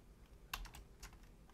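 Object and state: Plastic computer keyboard.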